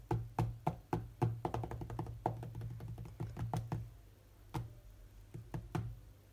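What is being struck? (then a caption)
Glass tablet touchscreen. Fingertips of both hands tap quickly and irregularly on the glass touchscreen of a large tablet lying flat, sounding like typing. The taps are soft, dull thumps with a low hum near 113 Hz and almost no ring. They come in dense bursts early on, then thin out into scattered single taps.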